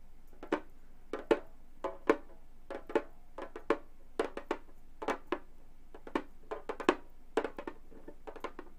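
Long gold metal claws tap on a hollow Remo frame drum with a synthetic skin head, making 26 quick, dry taps at an irregular pace. Each tap is a short, woody knock centered in the midrange around 445 Hz, with a brief bright click on top and almost no ring.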